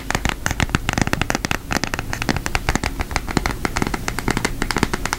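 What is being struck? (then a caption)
Cardboard eyeshadow palette case. Long nails tap rapidly on a flat, thin orange cardboard eyeshadow palette with a cartoon face on it. The result is a dense, steady stream of short, dry clicks that die away almost instantly. Each click has a crisp, bright attack over a hollow low thump.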